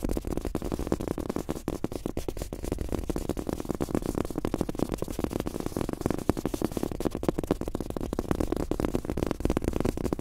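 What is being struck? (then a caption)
Fabric-topped rubber mouse pad. Fast fingertip tapping with both hands on a large, thin, soft fabric-top rubber desk mouse pad with a world map print, lying flat. The taps come as a dense, steady flurry of soft, muffled thuds, with short, dull hits that carry mostly low and low-mid tone and very little brightness.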